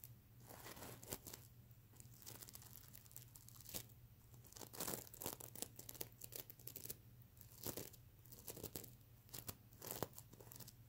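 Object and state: Plastic sequin pillow being scratched.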